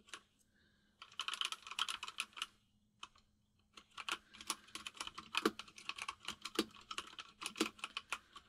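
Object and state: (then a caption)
Mechanical keyboard with plastic keycaps. A white full-size mechanical keyboard with plastic keycaps, resting on a desk, is typed on rapidly with the fingertips of both hands. Fast bursts of bright, sharp key clicks come in quick runs, with short pauses and occasional heavier, deeper-toned taps.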